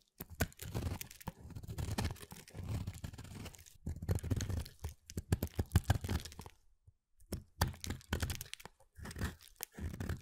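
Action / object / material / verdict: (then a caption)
scrape / soap bar / soap / none. A small, thinning bar of pale mint solid soap is shaved with a utility knife blade held in the fingers, cutting and scraping it. Dense bursts of dry crunching and tearing scrapes repeat with low, thick body, pausing briefly near the middle before resuming.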